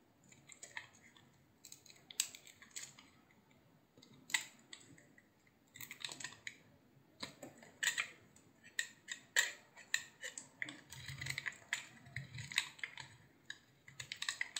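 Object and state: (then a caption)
Bar of soap shaved with a blade. A solid, hand-sized yellow bar of soap with a blue rim is held in one hand and shaved into curls with a utility knife blade. It makes a run of short, crisp scraping and crackling strokes, bright and dry with almost no low end. The strokes come in irregular clusters separated by brief quiet gaps, each one dying away almost at once.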